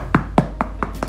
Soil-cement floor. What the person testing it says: not deep and if i knock on it it sounds a bit hollow